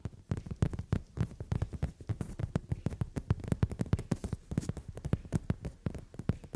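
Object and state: Leather sofa seat.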